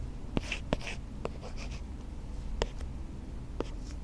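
An Apple Pencil Pro in a dark silicone grip case writes cursive on the matte, paper-feel plastic screen protector of a flat-lying 11-inch iPad in Starlight. Soft scratchy stroke sounds rise above a steady low hum, punctuated by short, sharp tip taps.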